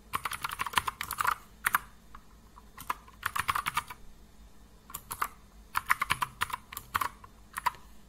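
Fingertips of both hands type continuously on a compact mechanical keyboard with blue and grey plastic keycaps resting on a wooden desk. Crisp, short plastic key-press taps centered near 1 kHz with bright clicky edges come in quick bursts, separated by brief pauses.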